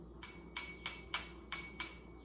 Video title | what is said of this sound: Sound Science Experiment | it's kind of this really high-pitched sound when there's no water